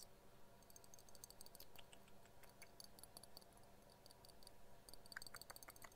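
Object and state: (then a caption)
Glass jar of paper confetti. A small, hand-sized clear glass jar shaped like a milk bottle, filled with small pink, yellow and green paper confetti, is held in both hands and shaken or tapped with long dark-painted nails so the contents rattle. The result is a quiet, steady stream of light, bright ticks and clicks over a low, soft background hum, with a few sharper taps near the end.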